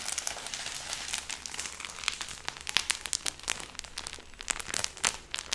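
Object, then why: Stack of paper banknotes. A thick stack of paper banknotes held with a yellow rubber band is crinkled, squeezed and flicked with the fingers. It makes a steady, bright papery crinkling with sharp, crisp flicks and crackles throughout, and almost no low end.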